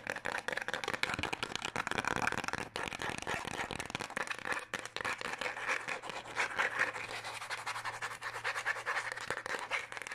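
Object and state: Paper passport booklet.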